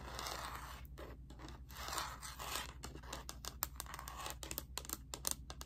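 Long painted nails scratch and tap the back of a handheld graphing calculator's hollow black hard plastic slide-on cover, with the calculator held upright in one hand. A dry, hissy scraping fills the first half, then gives way to a run of quick, sharp plastic taps over a steady low hum.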